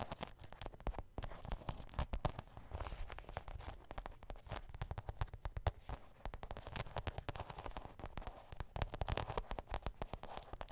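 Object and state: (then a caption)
Faux suede handbag, scratched and tapped. Long green nails scratch and tap the soft surface of a medium grey faux suede handbag with zippers, held up in the air. The result is a continuous stream of dull, muffled brushing scrapes mixed with dense, rapid soft taps, mostly low in tone with little brightness.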